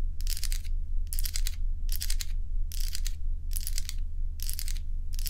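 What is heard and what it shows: Long nails scratch and tap a small stack of solid crescent ice cubes held in the palm of the other hand. Bright, hissy scratching comes in short repeated bursts, separated by brief pauses, over a steady low hum.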